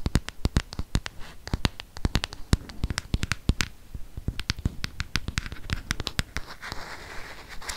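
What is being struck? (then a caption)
Plastic smartphone back. Fingernails rapidly tap and scratch the plastic back of a handheld black smartphone with a camera. The result is a quick, uneven patter of short, dry clicks with bright edges, mixed with soft scraping noise that grows more sustained toward the end.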